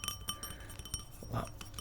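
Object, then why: Metal camera lens cap. A metal camera lens cap is handled and tapped, giving seven light, bright clinking taps with short metallic rings over a faint low hum.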